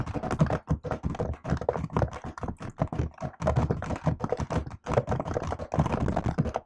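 Fingertips and long nails type rapidly on the plastic keycaps of a MacBook-style laptop keyboard. The result is a dense, uneven stream of short clicks and clacks with a soft low thump under each keystroke and a bright tick on top. Every stroke dies away almost at once, with only brief gaps between bursts.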